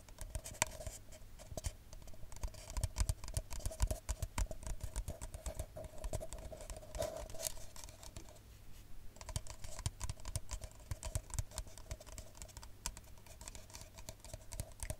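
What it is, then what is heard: Paper cup. An empty brown paper coffee cup, held upside down, is tapped rapidly with long nails. The result is a quick, irregular patter of dry, light clicks that stop almost instantly, over a faint steady hum and low background rumble.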